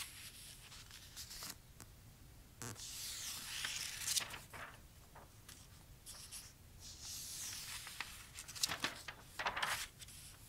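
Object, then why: Glossy printed paper catalogue. Fingertips with short nails rub across and turn the pages of an open, thin, glossy printed paper toy catalogue lying flat. Bright, crisp rustling and swishing sweeps rise and fall, broken by sharper crackling flicks as pages turn.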